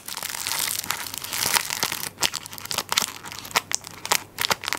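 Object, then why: Tissue paper roll in plastic film wrap. A tissue paper roll in plastic wrap, turned on its side, is scratched and rubbed across the film over its end with fingertips and nails. A bright, dense crinkling fills the first two seconds, then gives way to sharper separate crackles and scratches.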